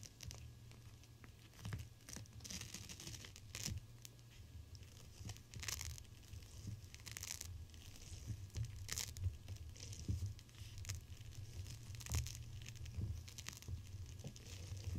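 A clear plastic pouch filled with teal gel beads, a cold/hot pack, is held in the hands and squeezed and rubbed with the fingertips. It makes irregular crinkling, tearing-like plastic crackles with bright bursts over a steady low hum. The crackles come in short, quickly fading clusters throughout.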